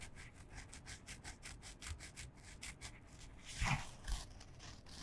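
Long fingernails scratch a small, flat, printed canvas fabric pouch, soft and hollow and held in both hands. Quick, rhythmic scratching strokes give a dry, bright rasp over a soft low rumble. Two louder swipes near the end stand out from the steady scratching.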